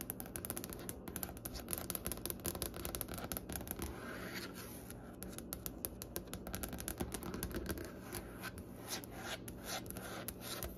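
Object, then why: Wooden butcher-block desk top. Long nails tap and scratch across the top of a large, solid wooden butcher-block desk with striped grain. Rapid bright clicks mix with dry rasping scrapes in a dense, steady run, each tap dying away almost at once with no ring.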